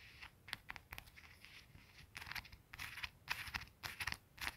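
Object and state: Faux leather ring cushion.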